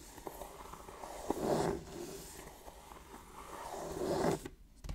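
Fingertips scratch and rub the lid and edges of a medium-sized, hollow, printed cardboard Pokémon Elite Trainer Box resting on a wooden table. The result is soft, dry scraping with a low, hollow resonance. Two louder rubbing swells are heard before the sound drops away near the end.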